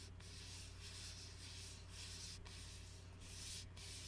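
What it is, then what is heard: Glass bottle with plastic label, scratched. Fingertips and nails rub and scratch the plastic shrink-wrap label on an Arizona iced tea bottle, a glass bottle of about 20 oz holding dark tea, held upright in both hands. The result is a soft, continuous, bright scratchy hiss that swells and eases in uneven strokes over a steady low hum.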